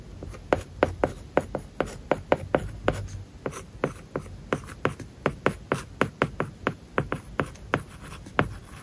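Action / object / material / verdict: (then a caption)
scrape / plastic stylus on a tablet screen with matte plastic film / plastic film / none. A plastic stylus writes on an iPad screen covered with a matte, paper-like plastic film. Steady scratching strokes are broken by about 30 short, dry taps that stand out as separate peaks. The taps have a mid-pitched tick and a brief bright edge, with almost no ring.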